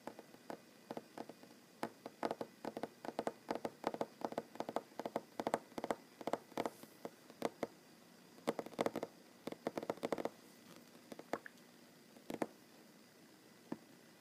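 Short fingernails tap on a solid wooden tabletop in quick bursts, with brief pauses between runs. Each tap is a dry, bright click that dies away almost instantly with no ring, centered in the midrange and fairly quiet overall.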